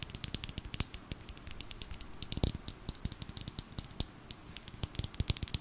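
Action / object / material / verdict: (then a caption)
tap / small filled plastic bottle / plastic / none. A small filled plastic glitter bottle, held in the hands, is tapped quickly with long nail tips. The result is a rapid, steady stream of dozens of short, dry, bright clicks with almost no ring, somewhat like fast typing, with a faint low thump under some taps.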